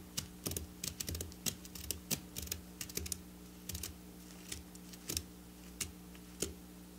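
Long black nails tap and scratch flat silver sequin fabric lying on a table. Short, sharp, bright clicks and scratchy ticks come in an irregular patter, each dying away almost at once. A steady low hum runs underneath the whole time.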